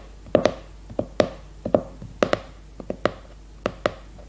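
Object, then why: Cardboard hardcover notebook. Long red nails tap and scratch the glossy cardboard cover of a leopard-print hardcover notebook held upright. About twelve quick, sharp taps land in uneven pairs and clusters, each a hollow, mid-pitched click around 600 Hz with a bright edge and a very short decay. Faint scratching fills the gaps between them.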